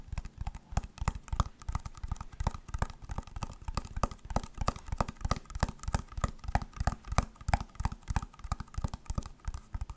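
Long nails tap quickly on the shell of an elongated, hollow white plastic clamshell glasses case held upright. The result is a rapid, uneven stream of dull, hollow clicks and thuds, heavy in the low end with little brightness, each dying away almost instantly.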